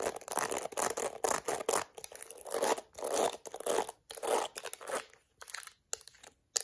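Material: Plastic.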